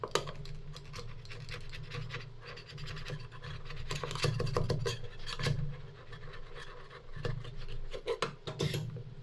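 Two metal spatulas with wooden handles, held in gloved hands, scrape along a large flat stainless steel cold plate used as a rolled ice cream tray, pushing a thin frozen layer of Parmesan cheese ice cream into a roll. Steady, gritty scraping strokes with sharp scratchy bursts sit over a constant low hum.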